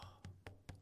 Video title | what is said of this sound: I Better Have a Balloon Coming | it's so dense but it's still spongy